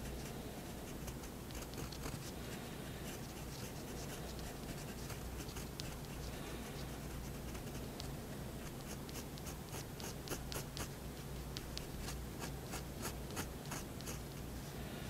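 A thin fineliner tip draws slow line strokes across a sheet of white drawing paper resting on a wooden desk. The result is a quiet, steady scratching with brief bright ticks as the nib drags over the surface, layered over a constant low hum.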